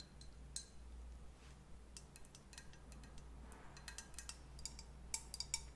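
A pink leopard-print ceramic cup-shaped candle holder, with a lit candle glowing inside, is held in both hands and tapped with long nails. The result is quiet, sharp, bright clinks and ticks that die away almost at once, scattered irregularly and clustering more toward the end. A steady low hum sits underneath.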